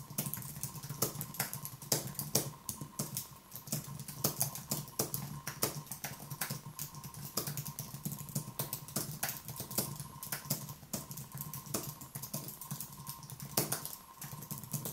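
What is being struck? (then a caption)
Wireless keyboard with plastic keys on an aluminium base. One hand types rapidly with the fingertips on a thin Apple wireless keyboard with white plastic keys on a low aluminium base, resting on a wooden desk. The result is a steady stream of short, crisp, bright clicks with quick decay. A constant low hum and a faint steady tone near 1 kHz run underneath.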